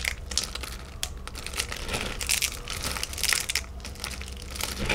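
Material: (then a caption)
Chocolate. Fingertips of both hands rub, grab and crush a heap of thin, solid chocolate shards in mixed colors piled on a white tray. The result is a continuous stream of crinkly, bright crackling with quick overlapping snaps over a faint low background hum.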